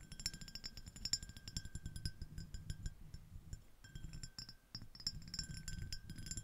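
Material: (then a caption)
Glass. Long acrylic nails tap and scratch a small, empty, clear iridescent glass dish shaped like a ribbed shell. Rapid, light clinks and scraping ticks come in dense bursts with brief pauses. Bright, high glassy ring and a steady tone near 1.6 kHz sit over a soft low rumble.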